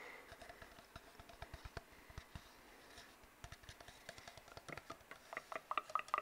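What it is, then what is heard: Cardboard tube. Fingertips tap and scratch on an empty, hollow brown cardboard tube, making a quick run of dry, soft taps with a faint papery scratch between them. Each tap is short and dies almost at once, with a hollow knock near 1.2 kHz. The tapping grows denser and louder toward the end.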